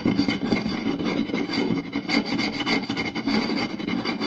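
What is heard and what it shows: Two hands rapidly scratch and tap the surface of a round solid wooden plate with a rim groove, using fingertips and short nails. The result is a fast, continuous mix of raspy rubbing and dry woody taps with a warm mid-low tone and bright scratchy edges, holding a fairly steady loudness throughout.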